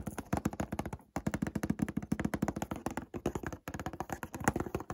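Fingertips rapidly tap the flat faces of a closed white cardboard Montblanc perfume box held near a wooden door frame. The result is a fast stream of soft, dull, hollow taps with very short decay, mostly low in tone, briefly pausing twice.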